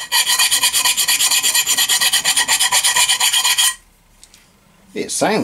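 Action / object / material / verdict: scrape / cast iron stove plate / cast iron / none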